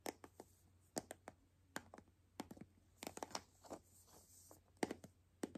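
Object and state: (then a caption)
Plastic toy capsule ball tapped with nails. A palm-sized hollow white plastic toy capsule ball, held in both hands, is tapped and scratched with long nails, its contents not visible. About eighteen quick, sharp clicks and brief scratches sound over a faint steady hum, each fading almost instantly. Some clicks carry a thin, bright plastic edge.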